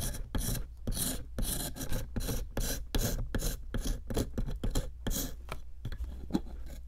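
A small metal chisel tip digs and scrapes into a solid pink plaster block sitting in a plastic tray. It makes a rapid series of short, gritty rasping strokes with bright, hissy edges. A steady low hum runs underneath.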